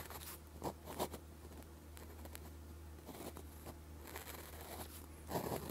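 The plastic tip of a gel pen scratches the strokes of Chinese characters onto a red-grid paper practice sheet. Short, dry scratching and tapping strokes rise over a quiet, steady low hum, with a few louder strokes standing out.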